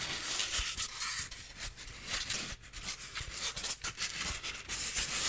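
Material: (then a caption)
Styrofoam. A solid white styrofoam piece with triangular edges is scratched and rubbed with fingernails and fingertips. The result is a continuous bright, dry rasping and squeaky scraping that rises and falls in bursts, with a few soft low thumps underneath.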